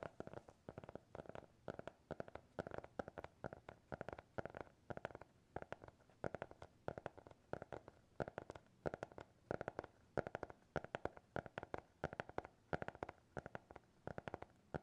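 A small, closed, solid black hardcover notebook with a TikTok logo is tapped with fingertips and nails close to the microphones. It makes a steady stream of quick, dry taps, with soft padded thumps from the fingertips mixed with sharper clicky ticks from the nails. The taps are quiet, with a low-mid body and no ring after each hit.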